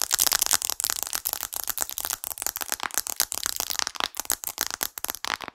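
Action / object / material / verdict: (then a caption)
tap / glass and aluminium smartphone / glass / none. Long acrylic nails tap rapidly on the glass screen of a smartphone with an aluminium frame, held above and beside the microphone. The result is a fast, dense run of sharp, bright clicks with no low end, each dying away almost instantly.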